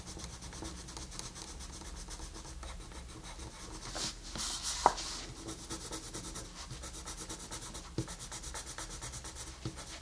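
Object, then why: Wooden colored pencil on paper. A wooden colored pencil, held upright, scratches and rubs across a flat paper coloring book page while shading. The sound is a steady, quiet, dry scratching hiss. It swells brighter around the middle, with a sharp little tick just before the five-second mark and a few fainter clicks near the end.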